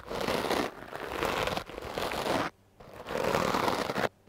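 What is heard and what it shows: A stiff-bristle wooden clothes brush is swept over a foam microphone windscreen, producing rough, crackly brushing and scratching strokes. The strokes are dense and broadband, strongest in the low-mids, separated by brief near-silent pauses.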